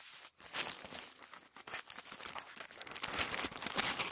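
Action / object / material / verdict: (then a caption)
scrape / thin tissue paper sheet / paper / none. A thin sheet of white tissue paper is folded and then bunched up on a table as hands crumple it. Dense, bright crinkling and crackling runs throughout with almost no low end, rising into sharper bursts near the start and again toward the end.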